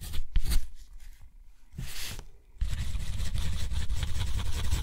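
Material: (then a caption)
Cotton paper. A metal dip-pen nib scratches across a thick sheet of textured cotton paper lying flat, drawing a looping ink spiral. A few short scratchy strokes and a brighter sweep give way to a steady, rough scratching over a low rumble for the rest of the clip.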